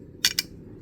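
A Sony Tough memory card with a resin body is dropped onto metal, landing with two quick, bright clicks about 0.15 seconds apart. The clicks are sharp and high-pitched and die away almost at once, with only faint low background noise around them.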